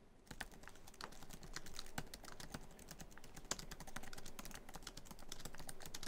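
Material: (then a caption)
Plastic. Fingertips of both hands type quickly on a MacBook Pro keyboard, tapping many black plastic keys set in the hollow silver aluminum laptop body. A fast, steady stream of short, crisp clicks and soft thuds overlaps for about six seconds, with a few sharper, brighter key strikes standing out.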